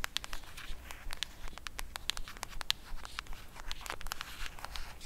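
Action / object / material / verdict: scrape / cardboard eyeshadow palette / cardboard / none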